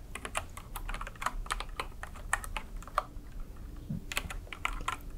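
Long red nails and fingertips type quickly on a white and yellow mechanical keyboard with plastic keycaps resting on a wooden desk. The result is a rapid, uneven patter of short, crisp plastic clicks with no lingering ring, over a faint low background hum.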